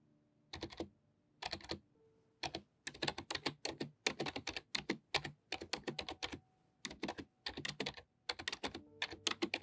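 Long painted nails type on a full-size pink-white plastic membrane computer keyboard with low flat keys. Quick bursts of bright, dry clicking taps come in rapid runs separated by short pauses, over a faint steady low hum.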